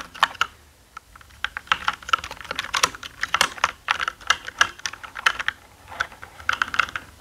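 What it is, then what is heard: Plastic mechanical keyboard being typed on. Fingertips of both hands type on a black mechanical gaming keyboard with plastic keycaps. Sharp, bright key clicks come in quick, uneven bursts, with a brief pause near the start. Each click is dry and stops almost instantly, over a faint low hum.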